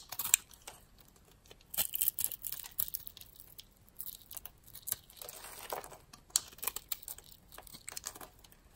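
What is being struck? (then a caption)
Bar of soap scraped with a metal blade. A metal blade cuts and scrapes cubes and thin slices from a solid, palm-sized, rounded light-green soap bar held in the hand. Quiet, dry, crinkly scraping bursts come in irregular clusters, bright and high with almost no low end. The soft slicing sound stops right after each cut.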